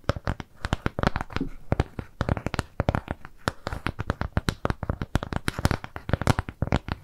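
A flat, round brown kraft cardboard shape with jute trim is scratched and tapped with long nails. It makes a quick, uneven run of dry taps and scratchy clicks, each dying away almost at once with no ring. The sound carries a dull, low body under bright, crackly edges.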